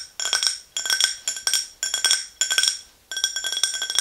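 Long green nails tap the sides of an empty, tall, clear glass tumbler standing on a fluffy rug. The result is bursts of quick, bright clinks with short ringing tones, separated by brief pauses.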